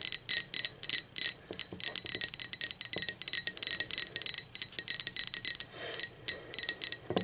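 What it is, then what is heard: Ceramic mug tapped with fingernails. Long acrylic nails tap quickly on a hollow, blue speckled glazed ceramic mug lying on its side and then upside down. A rapid, uneven run of bright, clicky ceramic taps rings only briefly, with a softer brushing sound near the end before the tapping resumes.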